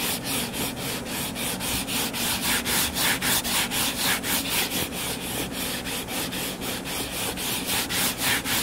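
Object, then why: Hardcover paper book. Short fingernails scratch the cover of a closed, solid hardcover paper book lying flat. A steady, fast run of rhythmic scratching strokes, about four per second, gives a dry, bright, hissy rasp with little low end.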